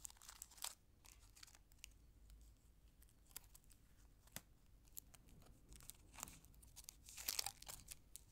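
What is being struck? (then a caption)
Thin aluminium foil candy wrapper. A small, thin, empty orange patterned aluminium foil wrapper from a chocolate egg is held between fingertips with long nails and folded and crinkled. Quiet, bright crackles and crinkles come in scattered bursts, with a denser, louder flurry of sharp crinkling near the end.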